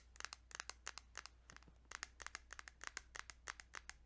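Fingertips tap on a plastic Kirby's Dream Land 2 Game Boy cartridge in a quick, uneven run of about 25 light taps. Each tap is a short, bright click with no ring, heard over a faint steady low hum. The sound stays quiet and close throughout.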